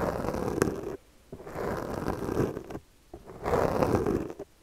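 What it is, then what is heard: Foam microphone windscreen scratched with a comb. The teeth of a yellow plastic comb are stroked repeatedly over the top of a black foam windscreen on a handheld microphone, producing a dense, crackly, rasping scratch concentrated in the low-mid range with little high-end content. Three separate bursts of scratching are heard, each lasting about one to one and a half seconds, with short near-silent gaps between them.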